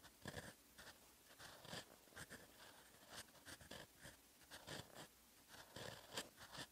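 A fountain pen's steel nib scratches across a sheet of lined writing paper while writing in orange ink. The result is a run of short, dry, bright scratching strokes separated by brief quiet gaps.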